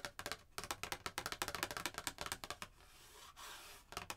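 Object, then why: Printed cardstock card. A printed cardstock Christmas card with a red truck picture is held in one hand while long painted nails scratch and tap across its surface, making a quick run of crisp, bright clicks. Partway through, the tapping gives way to a softer, steady rubbing hiss before a few final sharp taps return.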